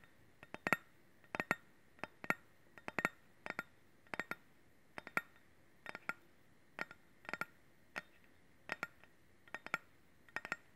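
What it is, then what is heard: Stainless steel cleaver blade. A flat, solid stainless steel cleaver blade, held horizontally, is tapped and scratched on its surface with fingernails. About 31 quick, bright metallic clinks sound in irregular clusters, each carrying a faint ringing tone near 1.4 to 2 kHz that dies away almost at once over a quiet background.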